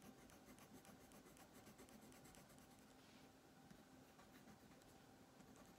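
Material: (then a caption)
Paper. A green colored pencil shades a thin paper coloring page on a wooden table with steady back-and-forth strokes, while the other hand flattens the sheet. The result is a quiet, continuous dry scratching with bright, grainy texture and a faint steady low tone underneath.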